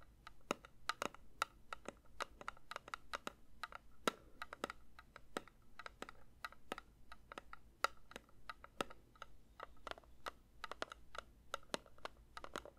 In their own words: 3:47 Metal candle tin tapping